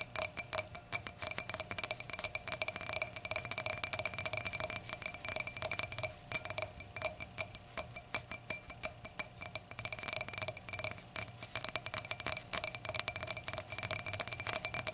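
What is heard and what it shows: Long acrylic nail tips tap and click rapidly on the thick round glass foot of an empty hurricane glass. The result is a dense stream of short, bright glassy clinks with very quick decay. A faint ring sits beneath them, with steady high tones and a softer tone near 600 Hz.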